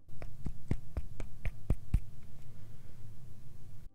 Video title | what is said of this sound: FIFINE K670 Microphone (Unboxing & Review) | it doesn't sound like plastic it is really weighty